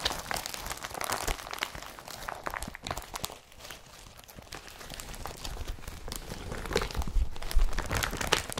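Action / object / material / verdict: scrape / woven polypropylene carrier bag / polypropylene / none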